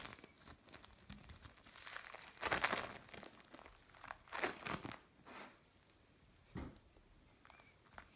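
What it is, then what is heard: Bead play foam being squeezed. A lump of mixed blue and orange bead play foam is pressed, pulled apart and flattened with the palms. It makes dense, bright crinkling and crackling with short tearing bursts, loudest around the middle of the clip. The bursts then thin out into quieter, scattered crackles.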